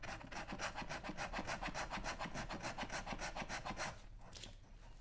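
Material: Leather.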